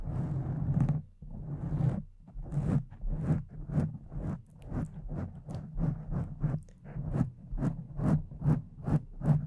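Long decorated acrylic nails scratch and rub the soft, porous surface of a pink foam windscreen over a condenser microphone. A long, breathy rubbing opens the clip, then gives way to a steady series of separate scratchy strokes. Each is a dull, close, low-heavy scrape that swells and fades quickly.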